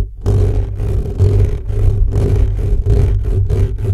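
Fingertips of both hands scratch fast across the hollow metal mesh grille of an upright black condenser microphone. The result is a loud, deep, boomy rumble in rapid, rough bursts. Almost all of the energy sits in the low end, with only a faint scratchy hiss above it.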